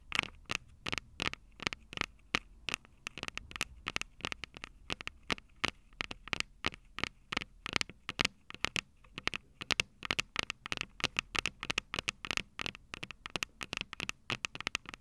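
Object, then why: Metal microphone capsules on a handheld recorder. Long purple nails on both hands tap and scratch the small metal X/Y microphone capsules on top of a plastic Tascam DR-05 recorder, the same mic doing the recording. The result is a steady, irregular stream of sharp, bright clicks with almost no ring or low end, with faint scratchy rustling between the taps.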